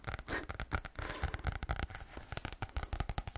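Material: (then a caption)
Card. A medium green spiral-bound notebook with a card cover and paper pages is held at an angle while fingertips and nails tap and scratch the cover. A quick, uneven run of soft, dull taps with little ring mixes with dry scratching across the card.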